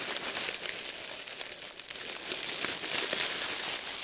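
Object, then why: Thin plastic produce bag. An empty, thin, clear printed plastic produce bag is scrunched and crinkled between red-gloved hands. The result is a steady, dense crackling rustle that is almost entirely bright and high, with no low end, and it swells slightly louder toward the end.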